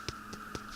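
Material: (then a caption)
Bread. A finished mini bannock loaf baked in a billy can is tapped three times, giving soft, hollow-sounding knocks over a faint steady hum. The hollow sound shows the bread is done, and it is then left on a rock to cool.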